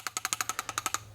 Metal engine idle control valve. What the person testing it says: Still nice and loose. You gotta make sure you can shake it and hear that noise.